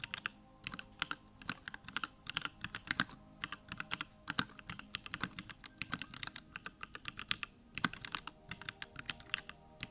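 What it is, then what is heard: Mechanical keyboard with plastic keycaps. A compact Bakeneko65 mechanical keyboard with Durock lavender switches and plastic keycaps sits on a desk while both hands type fast with their fingertips. Dozens of quick, bright, short clacks come in an uneven rhythm, each dying away almost instantly over a faint low hum. The sound stays crisp and light with little low-end thump.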